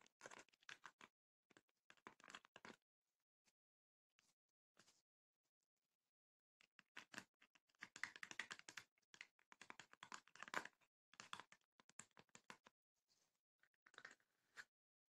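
Long nails tap the front and sides of a small, closed, hollow wooden chest with woven rattan panels and a metal latch. Quick, dry, clicky taps come in rapid bursts separated by short pauses, much like fast typing. Each tap is bright and dies away almost at once.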